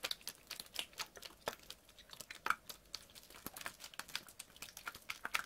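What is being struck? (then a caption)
PET plastic water bottle, partly filled with water. A clear PET water bottle, partly filled with water, is squeezed, crinkled and shaken by hand. It makes a quick, dense run of sharp, bright plastic crackles and crunches with almost no low end. Each snap dies away almost instantly.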